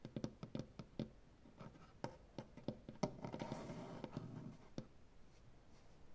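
Fingernails of both hands tap and scratch on a solid light wood butcher block tabletop. Quick, dull, low knocks come in an uneven rhythm, with a denser stretch of rasping scratches in the middle. The sound stays quiet and close, and each tap dies away almost at once.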